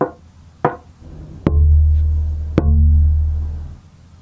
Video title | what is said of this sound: Making the Top and Back Plates for an Acoustic Guitar - Building an Acoustic Guitar | I can hear it ringing.